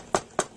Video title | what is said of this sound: DBPOWER 10 5 Inch Portable DVD Player Review | I'm worried about how cheap it sounds. I mean, can you hear that? It's hollow and rattly